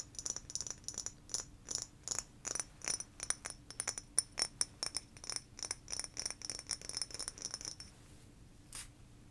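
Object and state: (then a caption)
Frosted glass sake bottle tapped with nails. A medium-sized blue frosted glass sake bottle with a paper label and a metal cap is held in both hands and tapped with fingernails on the glass body and near the cap. A quick run of sharp, bright clicks with almost no ring continues for about eight seconds, followed by a short pause and one faint final tap.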